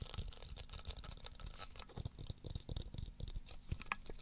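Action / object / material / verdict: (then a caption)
tap / hollow plastic ball with liquid-filled chamber / plastic / none. Fingertips and nails tap and scratch the surface of a hand-sized black plastic Magic 8 Ball with a white 8 label, held in both hands; it is a hollow shell with a liquid-filled answer chamber inside. The sound is quiet, with a dense run of soft, dry taps carrying a low, hollow thump, mixed with bright scratchy rustling. Each hit dies away almost at once, with no ring.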